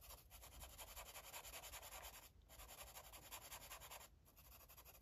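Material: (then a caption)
Paper. An orange marker is stroked repeatedly across a paper coloring book page, making a quiet, bright scratching and rubbing hiss in a quick, uneven rhythm. The strokes run almost continuously, with brief pauses near the middle and toward the end.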